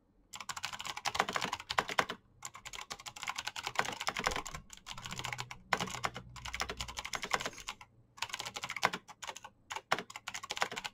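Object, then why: Plastic mechanical keyboard. Fast typing by both hands' fingertips on a black plastic backlit mechanical keyboard with clicky switches. Dense bursts of bright, sharp clicks run in rapid streams, with short pauses between them.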